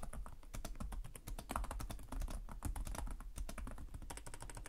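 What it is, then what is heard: Plastic laptop keyboard. Both hands type rapidly with short-nailed fingertips on the plastic chiclet keys of a black laptop resting on a desk. The result is a quick, steady stream of short, dry clicks and taps, each with a low thump underneath and almost no ring.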